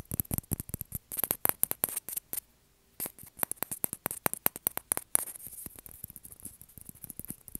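A small, hollow white celluloid or plastic ping pong ball is held in the fingers and tapped and scratched with fingertips and nails. Quick, sharp, bright clicks come in dense bursts, with a short pause just before the 3-second mark. After about 5 seconds the sound turns softer and more scratchy.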